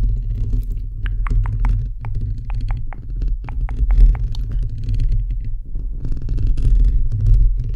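Fingertips and nails, from one or both hands, scratch the perforated metal mesh grille of a bare, hollow microphone head. A dense, boomy low rumble of scraping runs throughout, broken by quick, bright ticks where the nails catch the mesh.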